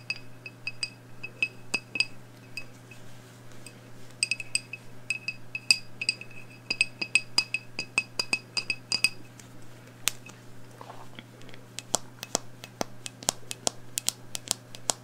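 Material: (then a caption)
Glass. Long nails tap the side of a medium black glass candle jar, filled with wax and with its wick lit. Quick, bright glassy clinks with a high ring that dies almost instantly come in irregular bursts, sometimes in rapid runs. A steady low hum sits underneath throughout.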